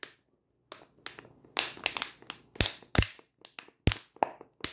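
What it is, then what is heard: Plastic water bottle crunched with nails. A full 500 ml clear plastic water bottle, held in the hand, is squeezed and crunched with fingers and long nails. About fourteen sharp, bright crackling bursts sound, separated by short silences. Each crunch fades quickly with little ring.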